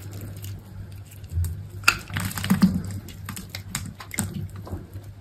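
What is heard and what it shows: A utility knife blade cuts cubes and slices from a dry green soap bar with a partly black coating held in the hand, leaving a carved block. Short, crisp scraping and crumbling snaps sound over a steady low hum, with one sharper crack near the two-second mark. The sounds are dry and quick, with almost no ring.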